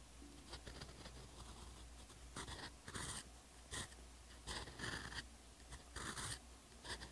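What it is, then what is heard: Paper notebook page (fountain pen writing). A steel EF fountain pen nib on a TWSBI Eco writes Korean in short strokes on the solid, flat, textured paper page of a hardcover notebook. The nib makes bright, dry scratching bursts as it glides across the paper, with brief pauses between strokes over a faint, steady low hum.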